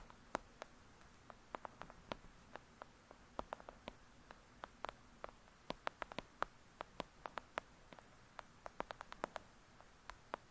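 Long nails tap and scratch the paper cover and edges of a thick "Lady Midnight" paperback book. About 41 quiet, dry, sharp clicks are heard at an irregular pace, each centered around 1.3 kHz with a bright edge and almost no ring. Faint soft scratching and a low background hiss fill the gaps between taps.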